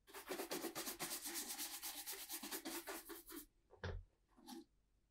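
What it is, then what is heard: Leather boot being brushed. A tan brogued leather Tricker's Stow ankle boot in Acorn, hollow and empty, is held in one hand and brushed with a handheld horsehair shoe brush, with continuous brushing and rubbing strokes across the leather upper. Quick, bright, bristly swishes run together for about three and a half seconds, then a few separate strokes follow with a soft low thump among them.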